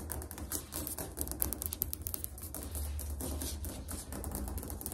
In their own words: 1 MINUTE ASMR - FAST NAIL TAPPING ON TILE FLOOR